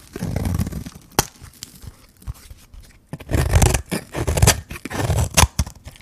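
A metal blade scrapes and shaves the face of a hand-held solid white bar of dry soap with a pink rim. Gritty, rasping strokes with a heavy low body come in bursts, broken by sharp brief clicks and quieter scratching between them.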